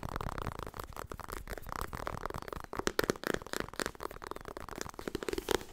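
Fingers tap rapidly on the softcover paper book "Getting Things Done." The taps are dull, papery and quick, with little ring, centred in the low mids with some scratchy texture. They form a dense, uneven patter that turns sharper and louder in the second half.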